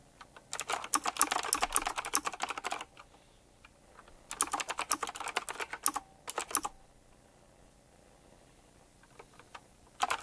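Fingertips type on a retro typewriter-style mechanical keyboard with round plastic keycaps set in chrome rings. Two fast bursts of crisp, bright clacks run for a couple of seconds each, separated by quiet pauses with only a few scattered keystrokes. A final short burst starts right at the end.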